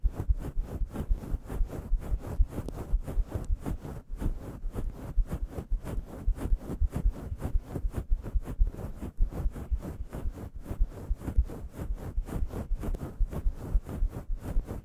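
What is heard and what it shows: Long yellow nails scratch a fist-sized grey faux fur microphone windscreen with both hands, making a fast, slightly uneven series of about 33 soft, muffled strokes. The rubbing is deep and boomy, with almost all its energy in a low rumble and almost no bright or high content. Each stroke fades almost instantly.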